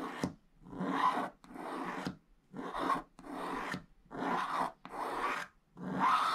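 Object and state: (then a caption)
Scratch-art paper page. A pointed wooden stick scratches away the black coating of a flat, thin scratch-art card page in a book, revealing the purple layer underneath while the other hand holds the page. Repeated rasping, filing-like strokes are heard, each lasting under a second with short quiet gaps between them. The scratching sound is dry and papery, centred in the midrange around 1 kHz.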